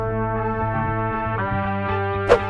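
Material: Nothing is struck.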